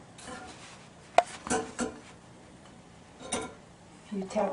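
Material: Bread.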